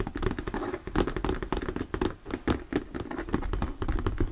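Fingertips rapidly tap and knock on a thin, translucent, diamond-textured plastic sheet or lid held upright. The result is a quick, uneven run of short, dull taps with a hollow mid-low tone, heavy low end and almost no high-frequency brightness.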